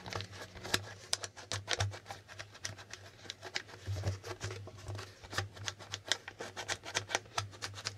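Fingertips tap and flip the white plastic answer tiles on the right side of a plastic Hangman board game, making a rapid, uneven series of short, bright plastic clicks and ticks. A steady low hum runs beneath the clicks throughout.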